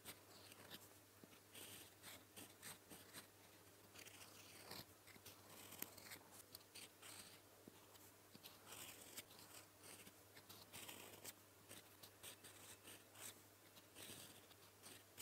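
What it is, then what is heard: Fountain pen nib writing on lined paper. A gold metal fountain pen nib writes blue Korean text on a flat sheet of lined paper, making soft, bright scratching strokes in short, uneven bursts. A faint, steady low hum sits underneath throughout.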